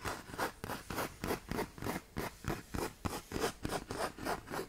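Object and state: Sandpaper sheet scratched with nails.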